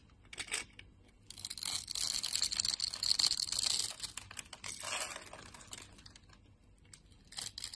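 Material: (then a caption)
Soap. A dark utility knife blade, held in a hand with dark nails, shaves cubes off a solid yellow bar of soap scored in a grid. The result is bright, crisp scraping and crumbly cutting, with a long dense stretch of shaving in the middle and shorter bursts before and after.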